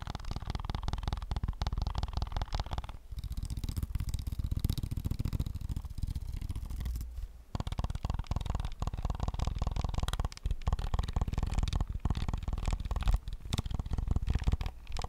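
A hollow white and black plastic PS5 game controller held in the hands has its shell and buttons tapped quickly with fingertips and short nails. The result is a dense run of fast, dull, low-heavy taps with almost no ring, broken by brief pauses near 3 and 7.5 seconds.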